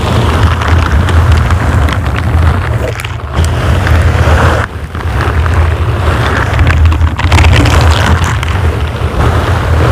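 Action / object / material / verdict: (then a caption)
scrape / foam microphone windscreen / foam / none. Fingers in silicone bristle gloves grip, scratch and rub a dark grey foam microphone windscreen. The result is a loud, dense, low rumbling scrape centred around 100 Hz that runs almost continuously, with brief quieter dips near 3 and 4.7 seconds.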